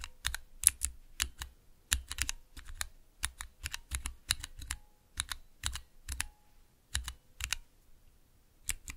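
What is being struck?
Plastic mechanical key switches with keycaps.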